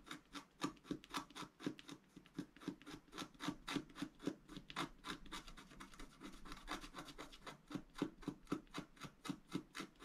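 A pointed wooden stylus scratches along the right edge of a thin, black wax-coated scratch-art paper sheet lying flat on a table. Quick, raspy strokes repeat at roughly four per second, each a dry scrape with bright, hissy texture over a soft low body. The strokes briefly blur together near the middle before separating again.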